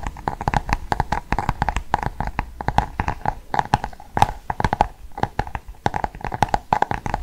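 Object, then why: Hardcover book with glossy cardboard cover. Fingernails tap and scratch the glossy cardboard cover of a large Cath Kidston hardcover book held in both hands. Rapid, dry, hollow clicks with a faint tone around 830 Hz come over a soft scratching texture. Each tap dies away almost at once.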